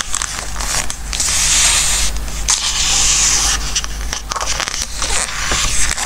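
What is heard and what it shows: Fingertips rub and turn the glossy coated paper pages of a large softcover Christmas craft book resting on a wooden table. Squeaky, bright rubbing and swishing page flips rise and fall over a steady low hum. Crisp crackles and short scrapes mark each turn.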